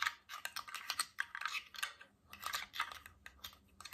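A tall, clear glass water bottle with a stainless steel cap, mostly empty with droplets inside, is held in both hands and tapped and scratched with fingernails and rings. The result is a rapid, irregular run of sharp, bright clicks centred near 1.8 kHz, with light scratching between them. Each tap dies almost at once, and there is a brief pause near the middle.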